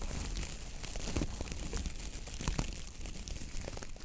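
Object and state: Coconut fiber dish brush.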